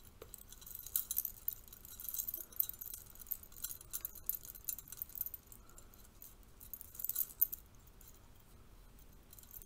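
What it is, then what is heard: Metal curtain rings. A stack of thin bronze-colored metal curtain rings is held in the hands while fingertips and nails flick and rattle the rings against each other. Rapid, bright, tinkly clinks come in quiet bursts, with the busiest clusters near the start, around the middle, and again near the end.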